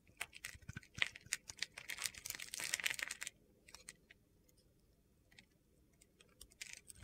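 A utility-knife blade scrapes crunchy flakes off a hand-sized solid white soap bar held in the palm. A dense run of crisp, bright scraping crackles fills the first three seconds, then thins to scattered soft ticks before a short burst of scraping returns at the end.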